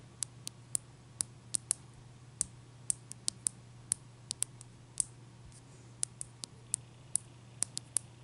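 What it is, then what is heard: Large ice cube. Long nail tips tap a large, clear, solid ice cube resting on a towel, giving 25 sharp, bright clicks at an uneven pace. Each tap is very short with almost no ring, heard over a faint, steady low hum.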